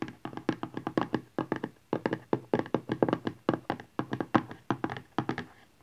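A small rigid cardboard smartphone box lies flat, back side up, and is tapped and scratched with nails and fingertips. About 34 quick, dry, hollow taps come in rapid clusters, each with a mid-pitched body and almost no ring.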